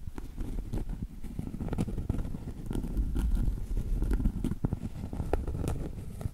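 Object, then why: Cork trivet. Long acrylic nail tips scratch and tap the face of a round, solid cork trivet near its edge while the trivet is tilted toward the camera. The sound is a steady run of soft, dull, low taps that die away almost instantly, mixed with a quiet scratchy patter throughout.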